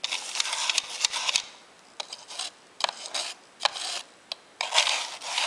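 A white plastic brush rubs and scratches across the face and buttons of a grey, hollow, hand-sized plastic Sega Dreamcast controller held in one hand. The result is bright, dry scratching in short bursts, with tiny clicks and quiet pauses between strokes and almost no low end.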